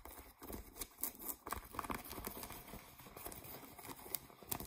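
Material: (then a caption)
Denim. Fingernails scratch the waistband and fly area near the metal button of a pair of blue ripped denim jeans. The sound is a soft, dry, rasping scrape of quick, uneven strokes, with bright crisp edges over a faint low rustle.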